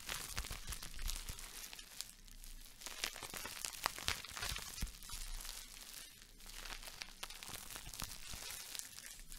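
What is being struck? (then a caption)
Plastic bubble wrap. A small wad of clear plastic bubble wrap is held in the hands, squeezed and crinkled while bubbles are popped with the fingertips. A steady, bright, crackling crinkle runs throughout, broken by sharp little pops.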